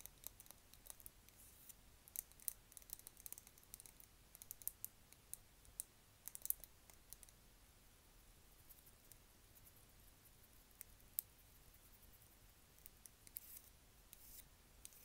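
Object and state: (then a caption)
Wooden pencil tapped and scratched. Long fingernails tap and scratch along a long, thin, solid yellow painted wooden pencil held horizontally in one hand. Quiet, sharp, dry clicks with no ring, plus faint scratching, sound over a low background hiss. The taps come in dense clusters during the first half and become sparser toward the end.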